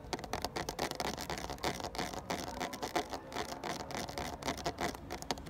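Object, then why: Ridged plastic water bottle. Fingertips tap and scratch the ridges of a full, clear, ridged 500 ml plastic water bottle. The result is a fast, continuous patter of short, dry clicks and scrapes with a hollow plastic tone around 730 Hz and bright scratchy edges.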